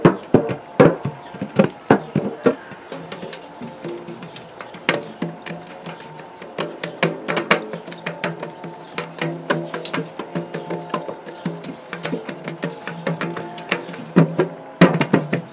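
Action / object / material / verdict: tap / large round metal biscuit tin / sheet metal / none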